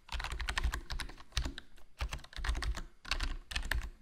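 Fingertips type continuously on a HyperX Alloy Core RGB plastic membrane gaming keyboard with a foam mod, its black plastic body forming a hollow case under black plastic keycaps. Quick, soft keystrokes come in bursts with brief pauses, each press a short muffled thud with a deep low body and a faint bright click that dies away almost at once.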